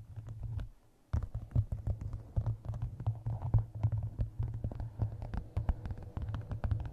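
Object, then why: Map-covered hardcover book. Long nails tap and scratch the cover of a map-covered hardcover book resting on a microphone. The result is a steady stream of quick, dull, bass-heavy thumps with short scratchy brushes, broken by a brief quiet pause about a second in.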